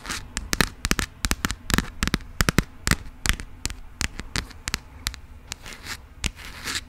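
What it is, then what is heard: Passport with coated cover. Long pink acrylic nails scratch and tap the coated cover of a burgundy passport booklet held in the hands. The result is a rapid, irregular series of sharp, dry clicks and brief crackly scratches, each bright and short with almost no ring, over a faint low hum.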